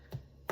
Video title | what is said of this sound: CREAMY BEEF & BROCCOLI CALZONE | tap it and if it sounds Hollow it is done